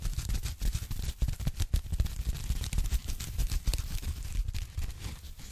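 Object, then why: Thin foam packing sleeve. Fingertips and long nails tap and scratch a thin, flat, hollow pink foam packing sleeve, which is briefly repositioned at the start. A rapid, uneven run of soft, dull low thuds is layered with faint bright scratching and crinkling. The taps stay muted and short, with almost no ring.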